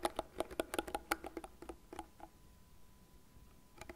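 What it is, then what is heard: Plastic hairbrush. Long nails scratch across the fine plastic bristles of a light blue, cat-shaped plastic hairbrush lying bristle face up, and tap its frame. About 17 short, dry, clicky taps come in a quick, uneven run over the first two seconds, with a faint scratchy rustle in between. After a quiet pause, a final pair of taps lands near the end, each dying away instantly with no ring.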